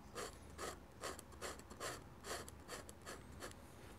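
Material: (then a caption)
Paper. A dip pen nib, held in the fingers, scratches across a large flat sheet of white drawing paper with an ink sketch, mounted on a board, in short, fast hatching strokes. Each stroke is a dry, bright, raspy scratch, repeating in a steady rhythm of roughly two to three per second over a quiet low background hum.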